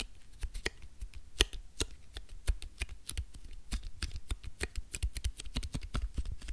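A flattened piece of crumpled aluminium foil is held in one hand and scratched and rubbed with the fingertips of the other hand. It makes a rapid, steady stream of sharp, crisp crackles and clicks with bright, high edges over a soft, low rumble. Each snap is very short and dies away almost at once.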